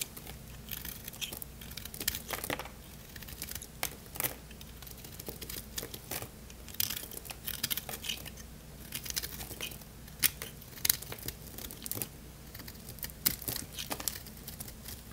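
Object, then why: Bar of soap. A solid, dry red bar of soap is scraped and cut with a craft-knife blade, the shavings piling up. Dense, bright crunchy scraping and crisp crackles repeat steadily over a faint low hum throughout.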